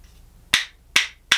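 A pair of light-coloured, solid hinoki cypress wood percussion spoons, held in one hand, is knocked together against the palm in rhythm. Three bright, dry clacks sound, each with most of its energy high in the treble. Each hit fades quickly over a brief tail.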